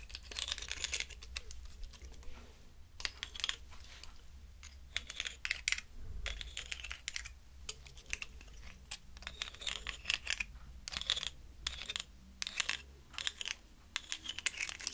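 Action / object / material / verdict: scrape / pine cone / wood / none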